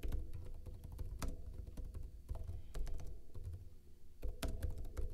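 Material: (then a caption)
Plastic. Fingertips with short blue-painted nails type rapidly on a backlit plastic laptop keyboard with hollow keycaps. The quick, hollow key taps are dull and low-heavy, each one clipped short with almost no ring, and they run in a steady patter with brief pauses.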